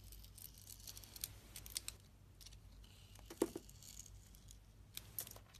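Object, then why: Bar of soap cut with a blade. A utility-knife blade cuts and peels the outer layer off a solid glittery blue Nivea soap bar with a pink core, held in a hand with long red nails. It sounds like quiet scraping with soft crackly shaves and a few sharper bright cuts, one louder snap near the middle, over a low steady hum.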